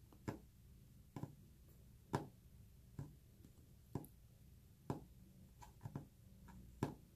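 Fingernails tap on a wooden surface, giving ten short, dry knocks spaced about a second apart with almost no ring. A soft, low purring hum runs continuously underneath.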